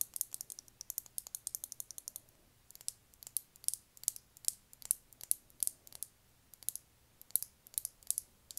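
Long nails tap along the silver cap and body of a small rectangular clear lip gloss tube full of copper gloss. The result is quiet, sharp, bright clicks in quick, uneven runs with a brief pause partway through, each tap ending almost instantly.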